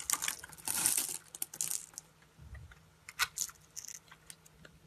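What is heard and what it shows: A solid, hand-sized red translucent glycerin soap bar is held in the hand and scraped and cut with a metal utility blade, shaving off tiny crystalline cubes. Bright, crisp scraping and crackling bursts come in quick clusters, with a longer dense shave near the start and sharper isolated cuts later.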